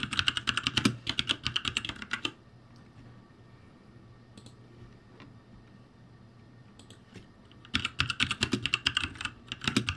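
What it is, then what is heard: Plastic mechanical keyboard. Fingertips type on a ROCCAT G65 backlit mechanical keyboard with plastic keycaps, producing rapid bursts of bright, sharp key clacks for about two seconds. A near-silent pause follows, with only a low steady hum, a faint thin tone and a few isolated taps. The fast clattering typing then resumes for the final two seconds.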